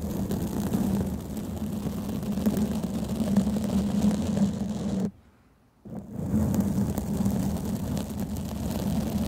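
A black foam microphone windscreen is gripped and scratched with the long painted nails of both hands, producing a continuous dense rustling and scratching with a low, rumbling hum. The sound cuts to near silence for under a second around the five-second mark, then resumes.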